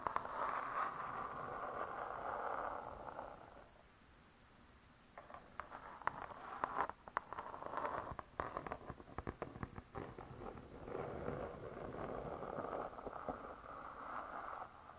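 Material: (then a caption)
Laminated board. Long nails of both hands tap and scratch the laminated board cover of a closed spiral-bound hardcover cookbook. A steady, dense scratching hiss centered around 1 kHz opens the clip and fades near four seconds, giving way to a flurry of quick, irregular dry taps. The scratching then returns and carries on to the end.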